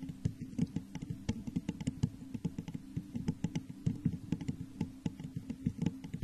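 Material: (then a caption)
Glass. Long nails tap rapidly and continuously on the sides of a hollow, textured clear glass vase turned upside down over a microphone. The sound is a dense patter of short, dull clicks with a low, hollow resonance around 156 Hz and almost no ring after each tap.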